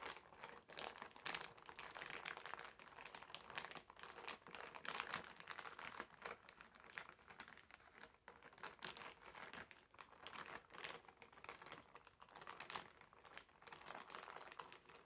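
Fingertips of both hands rub and press the surface of a medium, clear polyethylene zip-lock bag with a blue zipper, lying flat and empty on a white table. The result is a steady stream of dense, bright crinkling that rises and falls in loose swells, with almost no low end.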